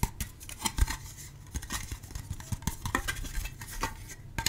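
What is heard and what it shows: A hand-sized, hollow, translucent red plastic shell is held in both hands and scratched and rubbed with fingertips and nails. Fast, irregular bursts of dry, bright scratching and sharp clicking taps cut off almost instantly, over a soft low rustle between strokes.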